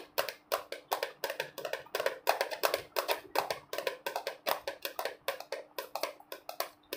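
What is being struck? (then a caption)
Plastic jar partly filled with almonds. A hand-sized, hollow clear plastic jar with a red screw lid, partly filled with almonds, is held in both hands and tapped and scratched with fingertips and nails, possibly shaken. The result is a fast, uneven run of short, hollow, clicky taps with a mid pitch, crisp scratchy highs and almost no low end. Each tap dies away almost instantly.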